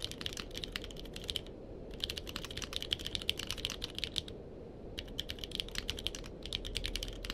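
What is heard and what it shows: Fingertips of both hands type on a purple-cased mechanical keyboard with plastic keycaps, producing rapid, crisp clicks centered around 3.1 kHz. The typing comes in three bursts with short pauses between them, over a steady low rumble.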